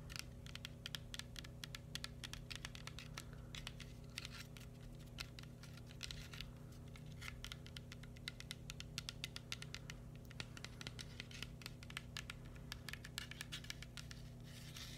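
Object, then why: Coconut shell. A round, brown, hand-sized coconut shell with a seam line, looking hollow and dry, is tapped and scratched with fingertips and nails. Quick, light clicking taps mix with rough scratching over a steady low hum throughout the quiet clip.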